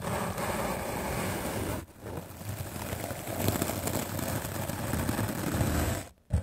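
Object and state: Melamine foam sponge being brushed.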